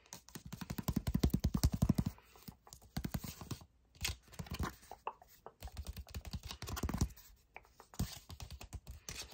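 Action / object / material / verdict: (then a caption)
scrape / paper envelope / paper / none. A red paper envelope held close up is tapped and scratched with fingertips. Dense bursts of soft, dry scratching and rapid tapping come in clusters, with brief quiet gaps between them. The sound is mostly low and muffled, with little bright content.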